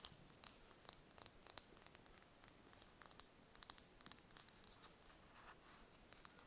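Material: Eggshell.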